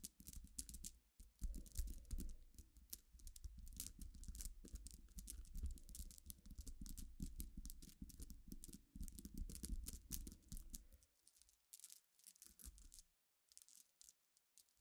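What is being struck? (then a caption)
Small glass pebbles. Long nails scratch and click across a pile of small, clear, solid glass pebbles resting on black cloth. Dense, bright, dry clicks and gritty scraping sit over a low, steady rumble. After about 11 seconds it thins to quieter, scattered taps.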